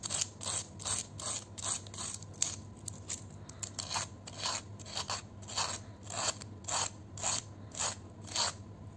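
A red-handled metal vegetable peeler repeatedly scrapes along a thin, curved, dry fried potato chip, small and solid, held in the fingers over a bowl of chips. Each stroke is a short, bright, rasping scrape, repeating at a loose, uneven pace over a faint steady low hum.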